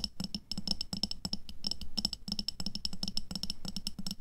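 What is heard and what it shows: Long nails tap rapidly on an upright clear glass jar full of red water beads (aqua pearls), held with both hands. The quick, dense run of crisp clicks carries a bright, high glassy ping and a soft low knock from the full jar, with each tap dying away almost at once.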